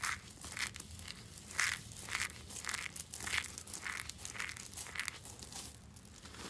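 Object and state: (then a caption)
Dry soap flakes. A pile of dry white soap shavings on a rubber mat is scooped up and crushed between bare palms and fingers in a crunchy, crumbling action. Bright, crackling crunch bursts centred near 2 kHz come in an uneven rhythm roughly every half second. A faint low hum sits beneath them.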